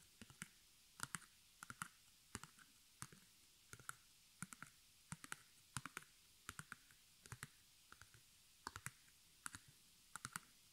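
Fingertips and long nails tap and scratch the front fabric of a small square white stretched cotton canvas, held in the hand, with black embroidered arrows on fabric over a hollow wooden stretcher frame. Quiet, dry, clicky taps land in quick pairs and clusters, each dying away almost instantly with a bright edge. Soft scratchy rustling fills the gaps between them.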